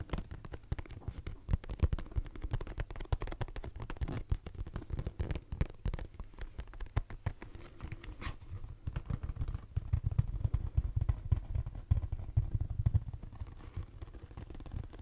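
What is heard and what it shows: A hollow, cube-shaped pink cardboard Kleenex box, held in both hands, is tapped with fingernails on its sides and top. Rapid, dense, dull tapping with a low hollow thump and almost no ring runs steadily for about 15 seconds, growing a little fuller and louder in the second half.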